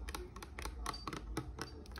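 Acrylic nails tap a small bottle of lavender oil resting on an altar, making a quick, irregular series of light, sharp clicks. Each tap is brief with a faint bright ping, over a steady low hum.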